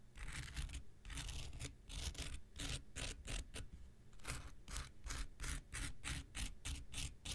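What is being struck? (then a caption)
Foam nail buffer block. A palm-sized pink rectangular nail buffer block of solid foam with an abrasive surface is held in one hand and scratched and scraped along its surface with the metal blade of an X-Acto knife. Quick back-and-forth strokes give rhythmic bursts of bright, gritty scratching over a steady low rumble, with short pauses between strokes.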